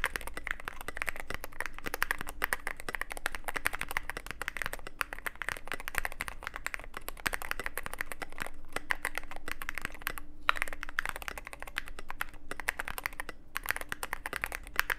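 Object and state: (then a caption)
Mechanical keyboard with plastic keycaps. Steady fingertip typing on a Cyberboard mechanical keyboard with plastic keycaps and a black aluminum case makes a dense stream of quick, dry clicks and clacks. Brief gaps fall near 10.5 and 13.5 seconds, over a faint steady low hum.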